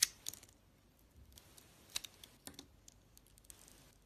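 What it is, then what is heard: Bar soap being cut with a blade. A utility-knife blade cuts slices off a solid, glossy, oval orange soap bar with purple stripes and a white core. About six sharp, bright, crisp clicks snap out over faint, quiet scraping, each dying away almost instantly.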